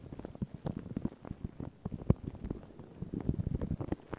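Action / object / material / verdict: scrape / paper tissue over a microphone / paper / none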